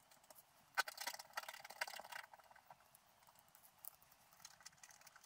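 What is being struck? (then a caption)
Scratch art paper scraped with a wooden stylus. A pointed wooden stylus scratches away the black coating of a flat, book-sized sheet of scratch art paper with a colored layer underneath, lying on a table while the other hand holds the sheet. Dry, bright scratching strokes with no low end start with a sharp scrape and a dense rasping burst in the first couple of seconds. They then thin out into softer, intermittent scratches.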